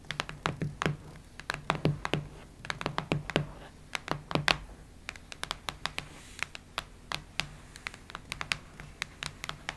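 Long nails tap and scratch the cardboard cover of a cactus-print hardcover notebook. Quick, irregular bright clicks come in uneven bursts over a soft scratchy rustle and a faint low hum. Each tap dies away almost instantly.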